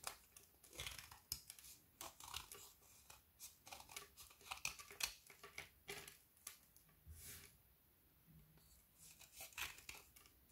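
A kitchen knife scrapes the edge of a narrow remaining strip of a solid frozen milk chocolate bar with hazelnut filling, held in the hand, shaving off brittle curls. A rapid series of crisp, dry scraping strokes is heard, bright and high-pitched with little low end. Each stroke stops sharply with almost no ring, separated by brief quiet gaps.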